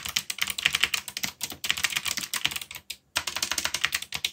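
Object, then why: Mechanical keyboard with plastic keycaps. Fingertips type very rapidly on the plastic keycaps of a black backlit mechanical keyboard, producing a dense stream of sharp, bright clicks. The keystrokes are crisp and quickly damped, with a brief pause near the three-second mark before the typing resumes.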